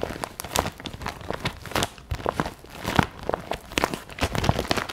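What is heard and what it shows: A clear vinyl zip pencil pouch with pink trim, filled with pens and highlighters, is held in both hands and tapped and scratched on its plastic with long nails. The result is a rapid series of short, sharp taps mixed with crinkly plastic rustling and scratching.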